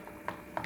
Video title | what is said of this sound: கண்ட கண்ட நொறுக்கு தீனியை சாப்பிடறதுக்கு இதை வீட்டிலேயே ஈஸியா டிரை பண்ணலாமே - Butter Murukku Recipe | You can hear a crispy sound when you tap the murukku